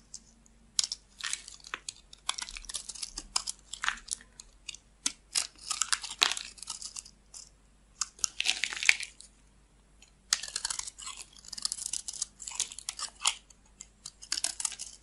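A solid off-white rectangular bar of white soap, held in the hand, is shaved with a metal blade into thin flakes. The result is bright, crisp scraping and crunching strokes in quick bursts, separated by short quiet pauses.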